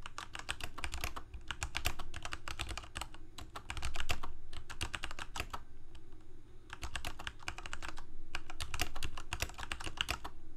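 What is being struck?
Plastic mechanical keyboard.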